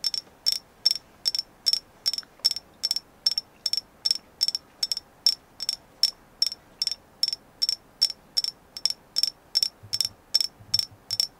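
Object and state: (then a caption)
Agate stone carving. Tapping on a carved agate moon goddess figure: a steady run of short, bright clicks in quick pairs, each with a high, glassy ping. Each ping dies away almost at once over a quiet background.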